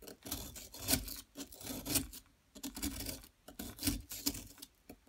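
A metal pick scrapes a solid yellow plaster excavation block held in place by long nails. Irregular bursts of dry, gritty rasping come and go over a few seconds, bright and hissy with a low thud under the stronger strokes.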